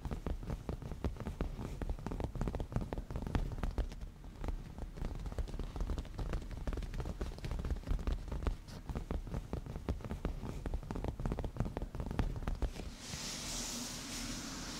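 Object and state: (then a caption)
Padded leather cushion. Fingernails tap and scratch with both hands across a padded black cushion of grained leather. Rapid, soft, low thuds patter densely with a dull muffled body. Near the end the tapping gives way to a steady, bright scratching hiss.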